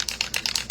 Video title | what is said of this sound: Fashion DIY: White Jeans + Easton Tooled Leather Foil | it's a rattle can. You want to really hear that shake.